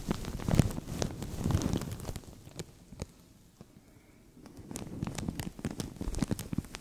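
Fingertips and nails scratch and tap a translucent thin plastic bag stretched over a microphone, producing close, crinkly rustling with a boomy low thump and sharp bright ticks. The scratching is dense at first, thins to sparse taps and a near-silent lull midway, then picks back up into steady crackling rustle.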